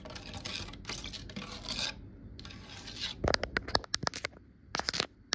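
Long nails scratch along the grain and grooves of a large, solid, varnished wooden cabinet door panel, making bursts of bright, raspy scraping. These give way to a run of quick, sharp taps with very short ring.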